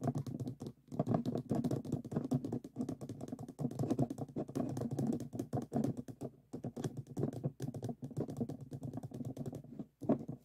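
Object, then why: Stacked plastic reusable cups. Fingertips and short nails tap rapidly on the walls of two upside-down stacks of hollow, empty white plastic reusable cups standing on a table. The result is a fast, continuous patter of dull, hollow clicks centred low around 164 Hz, with little bright content. Each tap dies away almost at once, and the run is broken only by a few brief pauses.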